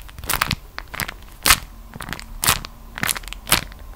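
A folded beeswax-coated cotton food wrap is held close and squeezed and crushed between fingers and long nails. It gives strong, bright crackling and crunching in bursts about once a second, with quieter crinkles in between.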